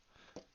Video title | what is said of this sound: The Free Heathen Workshop/ Wildness Wednesday Show #7 2026 | You can hear it, right? It's hollow